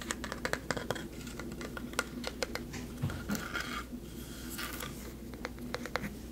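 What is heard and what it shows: Long nails and fingertips tap and scratch a medium-sized solid carved wooden plaque of a face with a textured, bark-like surface. Sharp, quick clicks sit over a soft scraping texture, with a brief louder rubbing stretch in the middle, all above a steady low hum.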